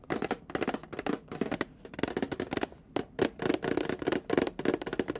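Long painted nails tap and scratch along the edge and side of a small, closed, rectangular printed metal tin holding dominoes, held on its side in the hands. A rapid series of short, bright clicks and scratchy bursts comes with a faint metallic tone around 360 Hz and almost no ring after each hit.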